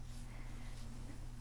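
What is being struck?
Nothing is struck.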